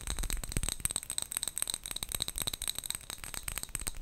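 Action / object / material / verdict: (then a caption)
shake / small glass jar with metal lid holding wrapped sweets / glass / none. A small clear glass jar with a gold metal lid, filled with colourful wrapped sweets, is tapped with long fingernails and gently moved. This makes a rapid run of quick, clicky taps with bright, high ticks. Underneath, the wrapped sweets rattle and rustle inside the jar.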